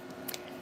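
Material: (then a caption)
Acrylic. A faint, brief high click from tapping a sanded acrylic nail enhancement on a trainer hand, heard over a steady low background. The click shows the acrylic has set and hardened.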